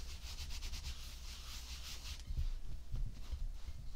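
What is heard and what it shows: Bare fingertips and palms pat and rub a round, flattened mound of tan kinetic sand on a white ceramic plate. A soft, grainy rubbing hiss with bright texture fills the first half, and then louder, dull low thumps from the patting take over.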